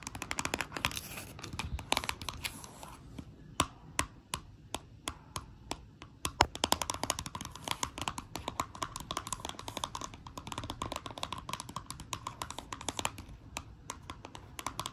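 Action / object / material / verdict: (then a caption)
tap / small flat cardboard box wrapped in cellophane / cellophane, cardboard / none. Long acrylic nails tap and scratch the back of a small flat Dior eyeshadow palette in cellophane-wrapped cardboard packaging as it is held and turned over. Quick, crisp clicks and crinkly scratches come in dense, uneven bursts over a quiet bed of soft rustling. Each tap is dry and stops almost at once, with a bright, papery edge.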